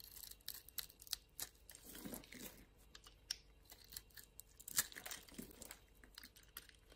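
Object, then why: Bar of soap. A small solid blue-and-white striped bar of soap is held in the hand while a utility knife blade scrapes and shaves its surface into flakes. The sound is a quiet run of dry, crisp scraping and crackling ticks, bright and high, with some soft lower shaving swells in between.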